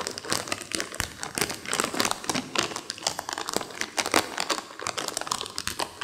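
A small, full, sealed foil-plastic M&M's milk chocolate bag is held in both hands over a carpet while long acrylic nails and fingertips crinkle and rub the wrapper. The result is a steady run of dense, bright, crackly crinkles with short, sharp spikes and almost no low end, each sound dying away quickly.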